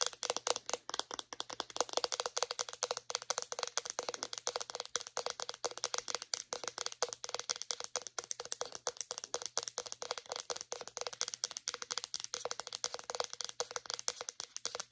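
Long painted nails rapidly tap and scratch a hand-sized white plastic deodorant stick container. The result is a dense, steady stream of sharp, bright clicks with scratchy texture and almost no ring, lasting the full fifteen seconds.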